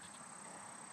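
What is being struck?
Nothing is struck.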